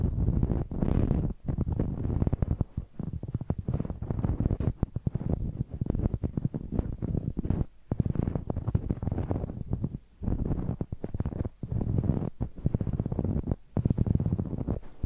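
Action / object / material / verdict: scrape / rubber spiky massage ball / rubber / none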